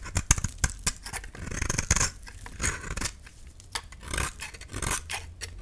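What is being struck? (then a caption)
Soap bar scraped with a metal blade. A metal utility-knife blade scrapes, scores and shaves a solid cream-colored dry soap bar held in the hand. The sound is a run of crisp, dry scraping and short cutting strokes with bright, papery texture and almost no ring.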